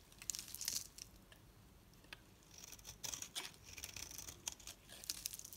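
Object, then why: Bar of soap shaved with a metal blade. A solid oval yellow bar soap held in the hand is scraped and shaved into thin, crumbly strands with a metal utility knife blade. Dry, bright scraping and crunchy crackles come in bursts, with short quiet gaps between strokes.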